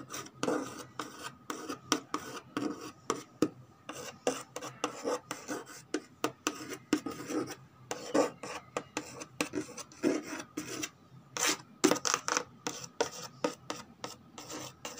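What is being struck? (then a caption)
Corrugated cardboard box. Long pink acrylic nails scratch and tap the flat side of a large corrugated cardboard shipping box with a printed Nestlé Fruita Vitals label. Short, dry raspy strokes and light taps follow one another in a quick, uneven rhythm, with brief pauses between bursts. The sound is crisp and close, with little low end and almost no ring after each stroke.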